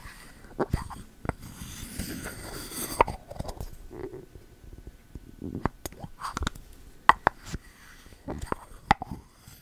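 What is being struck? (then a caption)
Bamboo lid on a ceramic candle jar. A bamboo lid on a pink ceramic candle jar is pushed in and pulled out by fingertips. This gives short, dry taps and knocks, some with a faint ringing click around 1 kHz, mixed with soft scraping and rubbing sounds.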